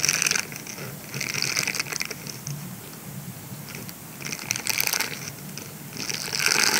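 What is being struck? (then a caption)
Silicone scrubber sponge. Fingertips scratch and rub the bristled surface of a grey silicone scrubber sponge that is rolled into a tube and held in both hands. The result is bright, hissy scratching that comes in uneven bursts, louder at the start, middle and end, with quieter rubbing between.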